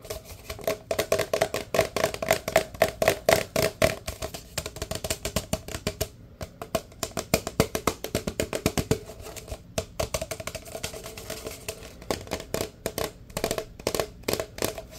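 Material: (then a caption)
Paper. A large, empty, hollow paper drink cup held in one hand is tapped rapidly with the fingertips. The result is a fast, uneven run of short, dry, hollow knocks with a woody tone around 700 Hz. Each knock dies away almost instantly, with quieter stretches between the busier bursts.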